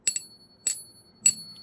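A silver coin with a Spider-Man design, balanced in a coin holder, is struck four times for a ping test. Each strike gives a bright, high bell-like ding with a faint ringing tone lingering between hits. The clear ring marks it as a real silver coin rather than a fake, which would give only a dull thud.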